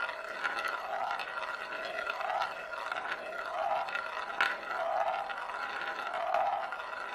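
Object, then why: Glass marble on a bamboo plate. A single glass marble rolls in circles on the inner surface of a large, shallow, hollow bamboo plate, held empty in both hands. A continuous mid-pitched rolling rumble swells and fades in loose cycles. Bright clicks and ticks sound where the marble bumps along the wood, with a steady tone near 1.5 kHz underneath.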